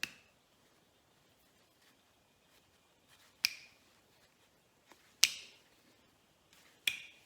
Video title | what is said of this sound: Weekly grass cutting visit on another Beautiful day. I also wanted to get the shower operational. | you can hear it sliding both ways